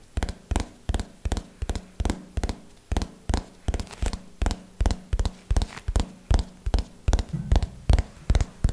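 Fingernails tap on the cover of a small red hardcover notebook held upright, in a slow, steady rhythm of 31 taps. Each tap is short and dull, with a heavy low thump that dies away almost at once and only a faint bright click on top.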